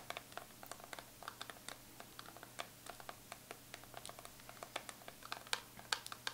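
Long pointed acrylic nail tips tap and scratch the embossed chocolate-bar lid of a closed Too Faced Chocolate Bar eyeshadow palette, a hollow metal tin lying flat on fur. About 28 quick, quiet, bright clicks land in an irregular rhythm, each dying away almost instantly, with soft scratchy sounds between them over a faint steady low hum.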